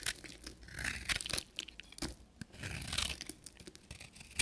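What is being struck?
Bar of soap cut with a metal knife.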